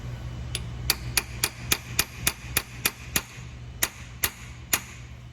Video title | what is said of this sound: Rebuilding CFT seamer vid 3 | the pitch of the tap is going to change and that's going to tell you when you've bottomed down